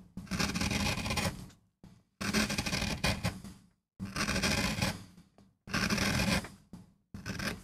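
A steel gouge cuts fine lines into a small, flat, solid MDF board inked dark, carving a rose for a relief print, while the fingertips of the other hand steady the board on a rubber mat. Bursts of dry, rasping scraping, each about a second long, are bright and broad with a low hum-like body near 215 Hz, separated by short silent pauses.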